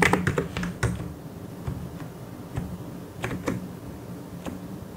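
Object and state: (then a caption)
Plastic mechanical keyboard. Fingertips type on the keys of a white and grey plastic mechanical keyboard. Irregular, sharp clicks and clacks come in a dense burst at the start, then continue as scattered keystrokes over a low, steady hum.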